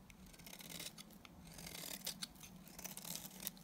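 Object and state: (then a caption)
Dry soap bar being shaved. A solid bar of dry white Timotei soap, held in the hand, is shaved with a box cutter blade. It makes a quiet run of crisp, bright scraping and crackling cuts with sharp short clicks, over a faint steady low hum.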